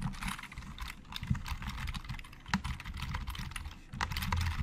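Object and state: Plastic computer keyboard, hollow.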